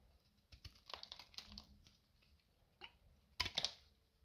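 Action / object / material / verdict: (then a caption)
scrape / bar of soap cut with a metal blade / soap / none. A metal utility knife slices crisp strips off the side of a solid, dry beige bar of soap, thinned by carving and held in the fingers. Quiet, dry, bright crackling scrapes come in short bursts with pauses between them, ending in a louder, sharper pair of cuts.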